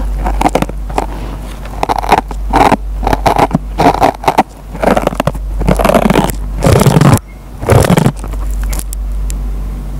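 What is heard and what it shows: A metal pen tip plucks and scratches the fibers of a dry kitchen sponge with a green nylon scouring pad. Bursts of dry, crunchy scraping and crackling come in uneven clusters over a steady low hum. The loudest, densest scratches come near the end before it settles back to the hum.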